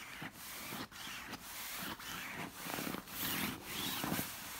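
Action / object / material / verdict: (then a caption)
scrape / stuffed pillow with silky fabric cover / silk fabric / none. Fingertips and long nails rub and scratch the smooth, shiny orange silk-like cover of a large, soft stuffed pillow. The result is a steady, bright, hissing scratch broken by brief dips between repeated strokes.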